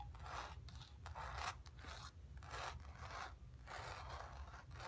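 Long nails quickly scratch across the painted sphere on a stretched, painted cotton canvas. The result is a series of dry, rasping scrape strokes in uneven bursts, bright and papery, over a steady low rumble.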